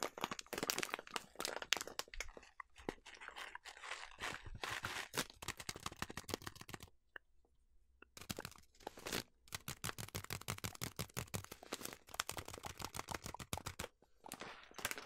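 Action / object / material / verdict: tap / plastic bag of oats / plastic / none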